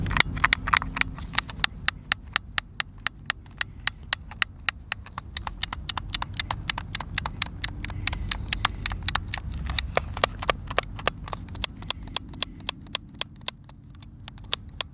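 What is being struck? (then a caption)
Plastic game controller. Fingertips and thumbs press and click the buttons of a white plastic Xbox controller, hand-sized and hollow, held in both hands. About 68 sharp, bright plastic clicks come in a fast, uneven stream, each dying almost instantly over a low, steady rumble.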